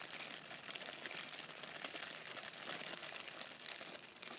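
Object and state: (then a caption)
Plastic shipping bag crinkled. Fingers crumple and crinkle a clear plastic poly shipping bag with a barcode label and dark soft contents inside, held in both hands. A dense, continuous, bright crackling rustle runs steadily through the whole clip, mostly high-pitched with almost no low end.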